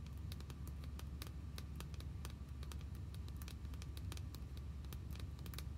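An orange, hollow vinyl or plastic My Little Pony figure, about hand-sized, is held in both hands and tapped with long nails and fingertips. Quick, light, dry clicking taps come in a rapid, uneven patter, with each tap dying away almost at once over a steady low hum.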